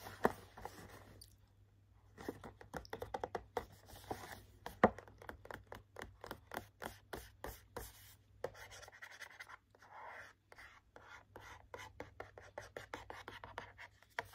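Short nails scratch and tap the front and edge of a medium cardboard hand cream trio gift box with a plastic window, held up in the air. The result is a quiet, irregular run of dry, brief taps mixed with scratchy rubbing, with no ringing after each hit.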